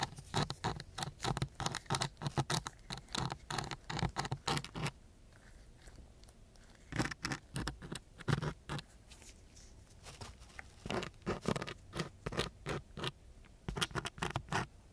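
A wooden stick held in a gloved hand scratches back and forth across a coarse brown sandpaper sheet. It makes quick, gritty rasping strokes in dense bursts that span low to bright frequencies. The scratching runs steadily for the first five seconds, pauses briefly, then returns in several shorter runs.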